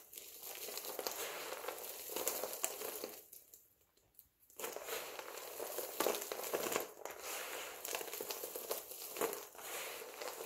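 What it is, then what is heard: Dry soap flakes crunching. A pile of multicolored dry soap flakes is scooped up and squeezed in both hands, producing steady dry crunching and crumbling with a bright, crackly texture. The sound briefly drops to near silence partway through before the squeezing resumes with louder crunches.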